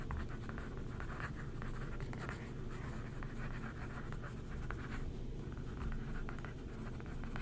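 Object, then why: Glossy paper magazine page. A thin wooden stick traces and scratches over the printed photos of an open glossy paper magazine lying flat on a table while a hand holds the page. The result is a steady, quiet scratching and rubbing texture with faint bright streaks over a low, dull rumble, with no clear pauses.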